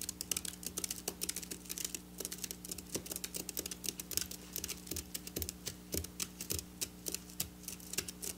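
Long black nails rapidly tap and scratch across silver sequin fabric. The result is a fast, uneven stream of dozens of sharp, bright clicks and crisp scratches, each dying away almost instantly, over a faint steady low hum.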